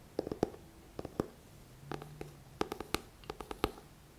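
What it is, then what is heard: Paperback book. Fingertips tap the glossy front cover of a thick paperback book in quick, irregular clusters of soft, dull taps with almost no ring. A faint low hum briefly sits beneath the tapping midway through.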